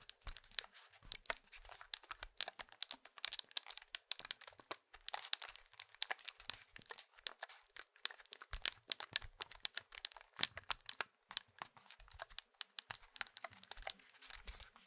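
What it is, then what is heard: Plastic mobile phone keypad being tapped. A small, hollow plastic candybar Nokia mobile phone is held in both hands while fingertips and short nails tap and press its keypad buttons. The result is a quiet, steady stream of rapid, dry clicks and crinkly taps, bright and sharp with no ring after each one.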